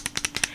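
A tube of Maybelline SuperStay Vinyl Ink liquid lipstick is shaken before applying to mix the liquid product, giving quick, bright rattling clicks. Four or five short bursts are heard, mostly high-pitched with little low end. Shaking it first helped the lipstick last a little longer on the lips.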